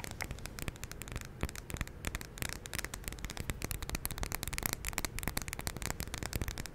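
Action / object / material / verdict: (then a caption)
tap / glass jar filled with wax / glass / none. Long pink nails tap and scratch the glass side of a large WoodWick glass jar candle filled with solid white wax, held in one hand. A steady stream of quick, crisp clicks and scratchy, crackling strokes runs throughout, each tap dry and short with bright edges over a low rumble.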